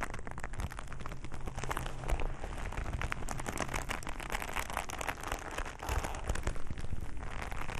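A black leather glove held in both bare hands is squeezed, rubbed and scratched by fingertips. The result is a steady, dense crackling rustle of many quick, dry ticks and scrapes over a heavy low rumble, with a few louder squeezes standing out.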